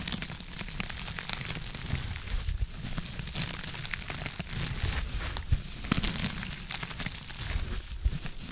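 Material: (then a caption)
Foam. Long acrylic nails scratch a blue textured foam scrub sponge held in one hand close to the mic. The result is a steady, dense crinkling and scraping texture with bright, airy hiss over a soft low rumble. A few sharper, louder scratches stand out in the second half.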